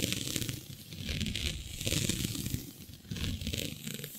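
Long nails scratch and pinch a flat sheet of black synthetic stretch fabric with a shiny dotted pattern. The result is a continuous, rough, crinkly scratching with a low rubbing rumble and bright hissy rasps that swell and fade in waves.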